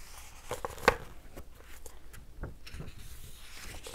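Fingertips rub and scratch across the paper pages of an open hardcover book held up in the air. Soft, dry scraping and rustling fill the clip, broken by a few brief ticks and one sharper click near the start.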